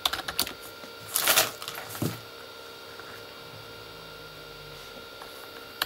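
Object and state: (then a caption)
Plastic keyboard, hollow-sounding. A full-size, hollow Corsair K35 backlit plastic mechanical keyboard with plastic keycaps on a plastic body is typed on with fingertips, first with one hand and then with both hands, in slower taps. Bright, clicky key presses come in short bursts, with a denser cluster of taps early on. A long quiet stretch with only a faint low hum follows, ending on one last sharp tap.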